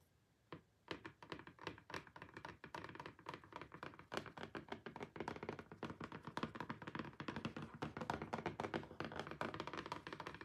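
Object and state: Cardboard box tapped with fingernails.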